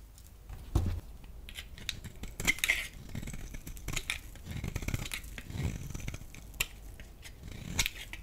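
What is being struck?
Bar of soap shaved with a metal blade.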